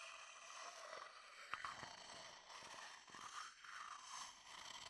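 A thin wooden stick resting inside a medium, empty wooden bowl held beside the mic scrapes and taps along the bowl's inner wall. The result is a quiet, dry, bright scraping texture with a few sharp light taps that die away almost instantly, with no low-end body.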